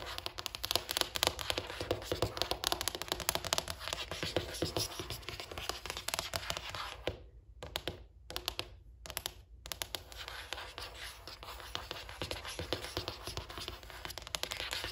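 Long black pointed nails rapidly tap and scratch the flat surface of a large, solid white bathroom countertop with grey veining, marble or marble-look quartz. The dense, crisp clicking and scraping runs almost continuously, dropping into a few brief silent gaps around the middle before resuming.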